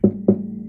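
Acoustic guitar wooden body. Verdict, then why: Solid. Knuckle-free wording: the wooden body of a cheap acoustic guitar, which looks solid though it is not solid wood, is knocked twice to show its material. Each knock gives a dense, woody thump with a low resonance around 200 Hz that fades quickly, and the body sounds solid and dense.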